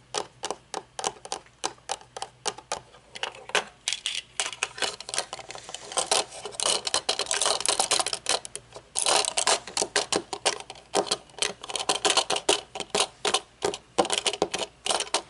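Long nails scratch and tap the thin metal temple arm and its plastic tip on a pair of metal-frame sunglasses with dark lenses lying on a table, then tap the lenses. The result is a steady stream of quick, dry, bright clicks with almost no low end, broken by denser stretches of scratchy rustling in the middle.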